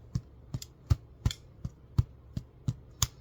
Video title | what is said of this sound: Making a sourdough discard & yeast sandwich bread. | It has a nice hollow sound.